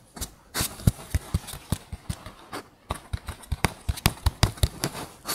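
An empty, hollow brown cardboard toilet paper tube lying on a fluffy mat is tapped with fingertips and short pink nails. About 20 quick, irregular taps sound as dull, hollow low thumps with bright clicky edges. Each one dies away almost at once.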